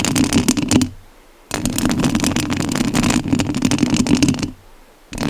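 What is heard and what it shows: Long nails scratch the metal mesh grille of a rhinestone-covered studio microphone, making dense, raspy, bright scratching with a low rumbling hum beneath it. The scratching comes in three stretches separated by two brief quiet gaps.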